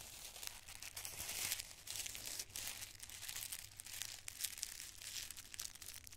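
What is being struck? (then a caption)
Thin tissue paper squares. Two handfuls of thin, multicolored tissue paper squares are squeezed and crinkled in both fists with the fingers. A dense, continuous crinkling fills the clip, bright and papery with quick crackles, swelling and easing as the grip tightens and loosens. The rustle is quiet overall and sits almost entirely in the high range, with little low-end body.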